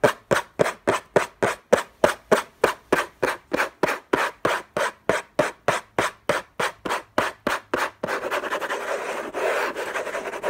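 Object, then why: Paper-covered cardboard box. Fingertips and short nails scratch the lid of a closed, long rectangular orange Hermès cardboard box covered in textured paper, lying on a fluffy blanket. About 26 quick, evenly spaced scratching strokes give a dry, papery rasp, then the last two or three seconds blur into continuous fast rubbing.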